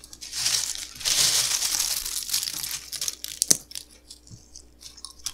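Small, hollow, dry, golden puffed cereal pillows are crushed and broken one at a time between the fingertips of both hands, with painted nails, over a pile of crumbled fragments on a tiled table. Bright, dry crunching and crackling comes in dense bursts during the first half, then thins into sparser, sharp snaps and faint crinkles.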